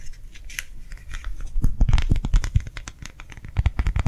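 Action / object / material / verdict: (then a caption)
tap / clear plastic gel-filled hand warmer pad / plastic / none. A round, clear plastic gel hand warmer pad filled with liquid is held in the hand and tapped and scratched with long nails. The quick, uneven taps give dull, low, muffled thuds with crisp clicky edges and light scratching, softer at first and louder in the middle and again near the end.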